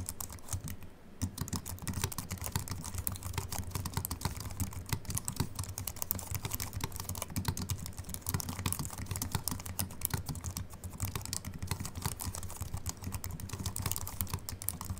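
Continuous fingertip typing with both hands on a slim Apple Mac keyboard with an aluminium body and white plastic keys. A steady, rapid stream of short, dry key clicks with a soft low thump and a bright tick, each dying away at once. The typing runs unbroken from start to finish.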